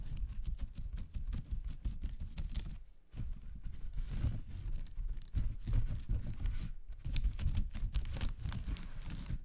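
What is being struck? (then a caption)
Paper toilet rolls in thin plastic wrap. Fingertips tap and press on a pack of soft, hollow-cored paper toilet rolls wrapped in a thin clear plastic bag, resting on a sink counter. The result is a steady run of quiet, muffled, low thuds mixed with faint crinkling of the plastic, with brief pauses between bursts.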